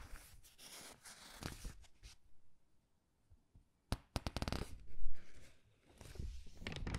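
A thin, glossy paper gift catalog is held open in both hands while fingertips turn and smooth its pages. Soft, papery rustling gives way to a near-silent pause, then a quick burst of sharp crinkles and flicks as a page turns. A louder swish follows, then quieter rustling as the page is smoothed flat.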